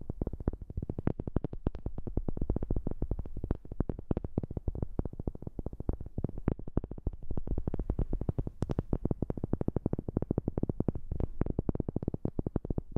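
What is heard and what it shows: Fingers or nails tap rapidly and continuously on a wooden object, recorded with a new microphone. The taps are short, dry and thuddy with weight in the low end and almost no ring, in a quick, steady, slightly uneven rhythm for the whole clip.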